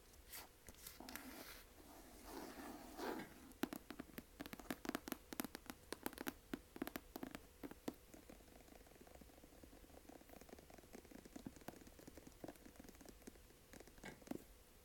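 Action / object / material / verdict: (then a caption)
tap / cloth-covered hardcover book / cloth, board / none. A thick, closed blue hardcover copy of "Alcoholics Anonymous" with a cloth-covered board binding is held upright in one hand while the fingertips and long nails of the other hand tap and scratch rapidly along its spine and top edge. Quiet, dry, muffled taps with a low-mid body come in quick irregular bursts, mixed with brief bright scratchy clicks and soft rustling scrapes. Each tap stops almost instantly with no ring.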